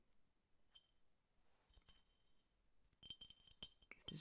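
A clear, hollow glass drink bottle about 30 cm tall, apparently empty, with a blue and yellow label, is held in one hand and tapped about 13 times. Each tap gives a short, bright glassy clink with high ringing tones that die away quickly. The taps come at an uneven pace and grow louder and denser toward the end.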